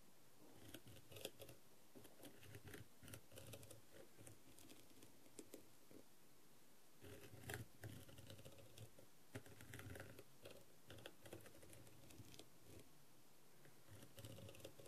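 The tip of a wooden skewer scratches and taps across a blue, rhinestone-covered plastic masquerade mask, a hollow thin shell lying flat. Quiet bursts of fast, dry clicking and scratching come in clusters, with short, sharp ticks that stop almost instantly and a faint low rumble underneath.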